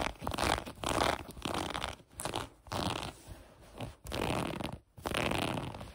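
Long acrylic nails scratch along the ribs of a light gray cotton sweatpants' ribbed elastic waistband lying on a table. The result is a series of dry, rasping, broadband scratching strokes that come in bursts with brief quiet gaps between them.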